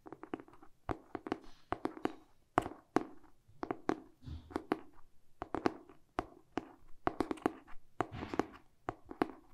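Short pink-painted fingernails tap and scratch the glossy cardboard cover of a medium hardcover book held in both hands, first the front and then the back. Quick, crisp taps with a hollow mid-range thud land in uneven clusters, each dying away almost instantly, with soft, brief scratching textures between them.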